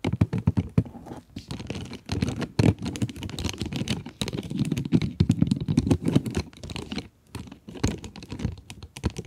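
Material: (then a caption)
Cardboard, plastic. Long nails tap and scratch the plastic window of a cardboard pencil box. Rapid, dense clicks and scratchy rustles come in irregular bursts with brief pauses. Each tap is dull and short, weighted toward the low end with little brightness.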